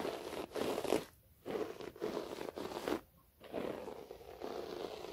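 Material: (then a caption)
Carpet fibre. Long nails scratch the fibers of a low, cream-beige short-pile floor carpet on a flat, solid surface, with the hands alternating. The sound is a dry, rasping, scratchy texture concentrated in the lower midrange, arriving in sustained bursts broken by two brief near-silent pauses.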